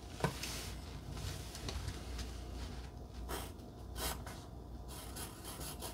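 A wooden pencil held by fingers with long glittery red nails scratches and writes across a flat pink cardstock heart cutout lying on dark fabric. The sound is a continuous low, rough rubbing and scratching with occasional brighter bursts of stroke noise.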